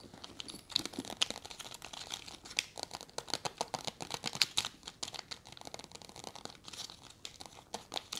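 A full, small soft plastic packet of wet wipes, white with a green label, is held in both hands while long red nails scratch and crinkle its surface. The result is quiet, bright, dense crinkling and scratching made of rapid sharp ticks, each dying away almost at once, with almost no low end.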